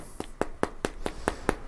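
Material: Wood.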